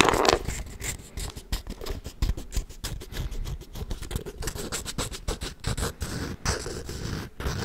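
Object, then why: Wooden folding chess board. A hollow wooden folding chess board, held horizontally, has its edges and surface scratched with fingernails and may be handled at the hinge or latch. Quick, dry scratching and scraping strokes follow one another in an uneven patter. Each stroke is short and crisp, with a low woody body and bright, rasping upper noise.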